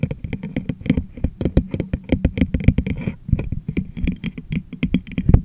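Fingernails tap rapidly on the top of an empty, hollow, medium clear glass jar held over a microphone, giving dull, low, close thuds with faint bright clinks. The tapping briefly pauses around the middle as the jar is lifted and held, then resumes.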